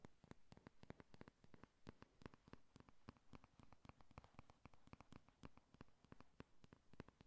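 Long nails tap rapidly on a flat pink 'Honey Lust' eyeshadow palette with a cardboard cover, held at an angle. The result is a quiet, steady stream of short, dry, papery taps with a dull low thump and almost no ring, forming an uneven rhythm throughout.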